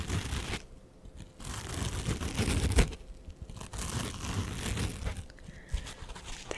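A small red foam sponge with a green scouring layer on top is held in both hands close to a microphone and scratched and squeezed with fingertips and nails. The result is irregular bursts of close, crinkly scratching and crunching with a heavy low rumble, separated by brief quieter pauses.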